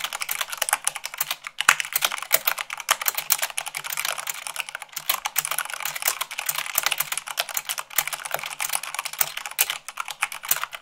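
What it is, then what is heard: Mechanical keyboard, fast typing. Fast typing with fingertips and long nails, at about 98 words per minute, on a mechanical keyboard with white plastic keycaps on a black base. A dense, steady stream of sharp, bright clicks and clacks runs throughout, each keystroke dying away almost instantly with almost no low end.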